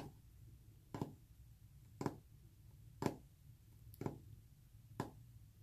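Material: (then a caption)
Painted wood. Short fingernails tap a solid, flat, white-painted wood panel with visible brush texture. Five short, dry knocks fall about once a second with almost no ring, over a quiet, steady low rumble.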